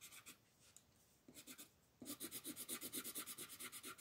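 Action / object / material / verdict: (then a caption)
scrape / colored pencil on paper sheet / paper / none. An orange colored pencil rubs and scratches across a flat white paper mandala coloring sheet in dense shading strokes. A few quick strokes sound, then a pause and three more, then a steady run of rapid back-and-forth strokes, about nineteen in all. Each is a bright, dry rasp with a faint low papery body.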